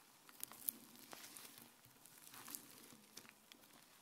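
Fingertips with dark nails press, pull and stretch soft white fluffy slime on a grey countertop, with a microphone sitting untouched in the background. Quiet, wet, sticky squishing comes through as bright crackles, small pops and faint crinkling, with a few sharper snaps standing out.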